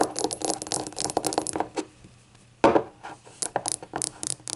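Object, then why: Small glazed ceramic shot glass. Long acrylic nails tap and scratch the glossy glaze of a small, hollow, rainbow-glazed ceramic novelty shot glass that appears empty and stands upright on a table. A quick run of light, bright clicks and scrapes with a faint ring around 550 Hz fades into a brief near-silence. A sharper, louder tap follows, then a scattered series of crisp taps that each die away quickly.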